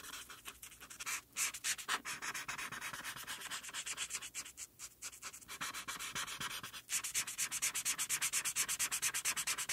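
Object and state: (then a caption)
Felt-tip marker colouring on paper. A felt-tip marker held by the fingertips is rubbed back and forth in short strokes across a flat white paper coloring sheet, colouring a mane purple. Each stroke makes a bright, dry, scratchy rub with almost no low end, repeating in a quick, uneven rhythm with a few brief pauses. The strokes grow faster and louder near the end.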